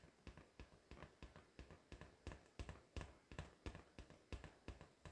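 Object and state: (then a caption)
Latex balloon tapped with nails. A pink, hollow, air-filled latex balloon held in both hands is tapped rapidly with long decorated acrylic nails. The result is a quick, somewhat uneven run of soft, hollow thumps, dull and low with a faint bright click at each tap, each dying away almost instantly.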